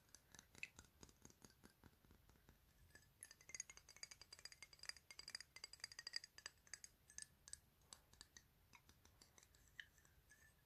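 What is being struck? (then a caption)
Glass perfume bottle. Fingertips and nails tap the surface and edges of a rectangular, clear glass 100 ml perfume bottle with a "Paris" label; the bottle is hollow and holds liquid. The result is a quiet, rapid run of many short, bright clicks and clinks with brief high glassy tones that die away almost instantly, growing busier in the middle of the clip.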